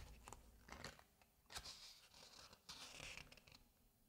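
A large, thick hardcover book of space photos is held open while its glossy paper pages are turned by hand, fingertips sliding over and flipping the sheets. Soft, bright papery swishes and crisp rustles come in uneven bursts, with a sharper flip near the middle and a few faint low thumps underneath. The sound is quiet and dry throughout.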